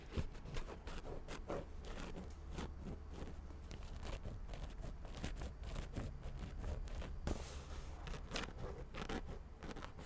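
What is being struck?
Paperback book with cardboard cover.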